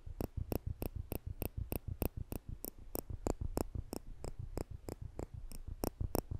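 A pair of polished stainless steel tweezers with slanted tips, held in the fingertips just above a microphone, has its arms pinched so the metal tips click together. About twenty-five short, dry clicks come at a quick, slightly uneven pace, each a soft low thump topped by a bright tick that stops instantly with no ring.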